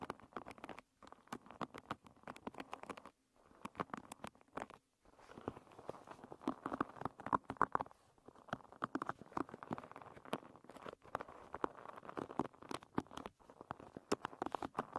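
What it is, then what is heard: Wooden pin bristle hairbrush. Long red nails scratch and flick the wooden pins of a wooden paddle hairbrush lying bristles up. The result is a quiet, dense stream of quick, dry clicks and ticks over a soft scratchy rustle centered in the midrange, broken by a few brief pauses.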